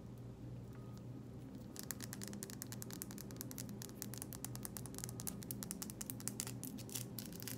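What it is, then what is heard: Plastic cosmetic jar. Long nails tap and scratch on the black plastic lid and labeled sides of a small, filled Lush "Sugar Plum Fairy" plastic cosmetic jar. After a quiet start over a low steady hum, a rapid run of sharp, dry clicks and light scrapes begins at about two seconds and continues to the end.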